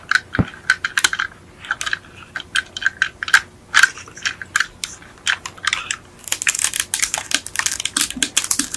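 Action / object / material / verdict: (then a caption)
tap / plastic toy car chassis / plastic / none. Long acrylic nails tap and scratch the black ribbed plastic chassis of a yellow die-cast Beetle model lying upside down, with its metal axles exposed. The result is a fast run of short, dry clicks with a ringing tone around 1.6 kHz that die away almost instantly. In the final couple of seconds the taps blur into denser, brighter scratching.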